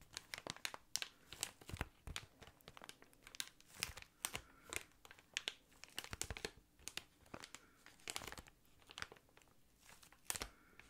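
Fingernails scratch and fingertips tap an inflated, clear plastic air column cushion, a hollow, air-filled packaging piece. The result is a quick, irregular run of sharp, dry crinkles and clicks that are bright and high, with almost no ring after each touch.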